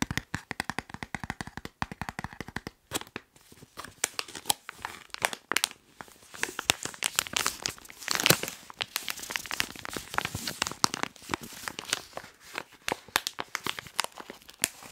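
Hands crumple and crinkle a hand-sized white printed plastic snack wrapper while fingertips tap on it. The clip opens with rapid, evenly spaced taps, then turns into dense, bright crackling and rustling that sits mostly in the high frequencies with very little low end.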